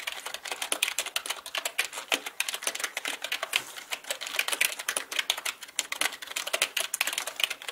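Both hands type with their fingertips on a black mechanical computer keyboard with plastic keycaps. The result is a rapid, steady stream of short, sharp clicks and clacks with uneven loudness. The sound is bright and dry, with almost no low end and each keystroke dying away instantly.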